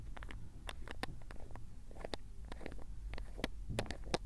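A small glass ink bottle, partly filled with dark blue Iroshizuku tsuki-yo ink, has its black plastic screw cap twisted open and closed by fingertips right next to the recorder. Quick scraping and clicking cap sounds tick over a low rumbling background, with sharp, bright clicks standing out.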